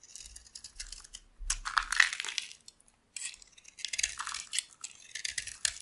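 A metal blade scrapes and cuts a solid, dry, oval cream bar of soap held in the palm, shaving off flakes. Bursts of bright, crisp scratching and crackling come in uneven strokes, with a near-silent pause in the middle.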